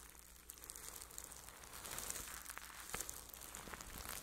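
A flat makeup brush sweeps over plastic cling wrap stretched across a microphone head held in one hand. It makes a dense, bright crinkling and crackling with scattered sharper ticks, over a steady low hum. The texture grows busier and slightly louder toward the end.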